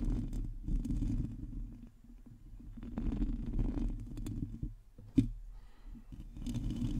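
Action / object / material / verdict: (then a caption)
scrape / metal mesh microphone grille / metal mesh / none. Long teal nails scratch and tap a hollow metal mesh microphone grille, producing a continuous low, rumbling scrape with a hollow, muffled tone. Brief brighter scratches flicker over it, and a single sharper tap stands out near the end before the rasping resumes.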